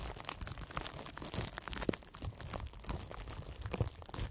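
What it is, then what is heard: Plastic bubble wrap being crinkled. A sheet of clear plastic bubble wrap, light flexible plastic with hollow air bubbles, is wrapped around a microphone head and squeezed and crinkled by both hands with the fingertips. A dense, continuous stream of close crinkling and crunching is heard, with soft low rustle and sharp little pops standing out. No words are spoken.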